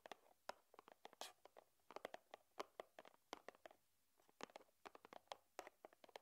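Long nails tap on the top of a small, flat, white cardboard box for a charging cable, resting on a wooden table. A quick, irregular series of quiet, dry, hollow clicks sounds out, with a brief pause partway through. Each tap is short and papery, centered in the midrange with some bright edges, and dies away almost instantly.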